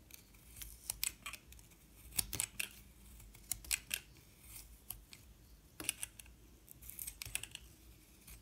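A metal utility knife blade shaves slices off the surface of a solid yellow-and-white bar of soap held in the hand. Quiet, crisp, bright scraping and cutting strokes come at an irregular pace over a soft low background hiss, each stroke ending sharply with no ring.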